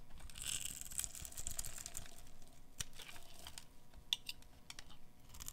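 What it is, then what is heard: Dry soap bar being carved. A metal blade scrapes across the scored surface of a pink solid bar of dry soap held in the hands, cutting it into cubes. Dry, crumbly scraping and crinkling runs throughout, broken by sharp, bright clicks and crunches as the pieces break away.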